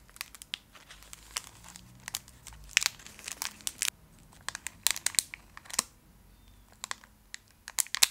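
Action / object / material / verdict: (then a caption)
scrape / foil-wrapped candy bar / foil / none. A full, small Fry's Turkish Delight bar in a shiny foil wrapper is held up close and scratched and tapped with long acrylic nails. Bright, crisp crinkles and sharp clicks come in quick irregular bursts over a quiet background, with almost no low end.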